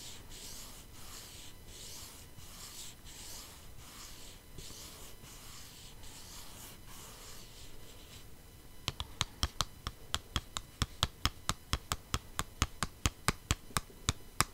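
Long nails scratch a flat, hollow, holographic cardboard palette box held close to the mic, making a soft, bright rasping in rhythmic strokes for about nine seconds. Then fingertips come to rest flat on the box, and a quick run of sharp, dry, hollow taps follows to the end.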